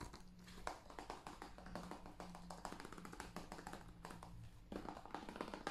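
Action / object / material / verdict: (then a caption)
tap / hollow plastic game case / plastic / none. Fingertips and nails tap rapidly across the face and edge of a hand-sized, hollow blue plastic PS5 game case for Call of Duty Cold War, which has a printed paper insert and is held in the hands. The result is a dense run of short, dry, hollow clicks and taps with a faint low hum beneath. After a brief lull the taps return louder near the end.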